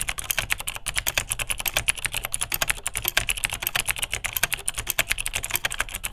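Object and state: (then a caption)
Plastic mechanical keyboard with clicky switches. Continuous two-handed fingertip typing on a beige vintage full-size plastic Unitek K-158 mechanical keyboard with Cherry MX Dark Blue click switches. The rapid, crisp, clicky key presses are bright and short, with a light low thud under each stroke.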